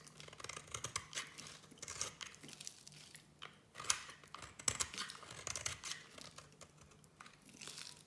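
A small metal blade shaves a solid black-and-white striped soap bar, scraping off crumbly flakes. The sound is a quiet, dense run of dry, bright scraping and crackling. Sharper crunchy cuts stand out near the middle.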